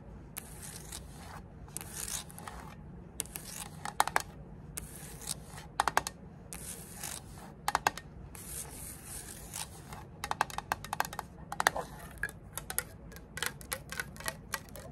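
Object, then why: Small printed metal tin. Long acrylic nails tap and scratch the surfaces of a small rectangular printed metal Zippo lighter fluid can, first as it lies on a table and then while it is held up. Bright, bursty scratching rasps alternate with many short, sharp metallic taps over a low, steady background hum.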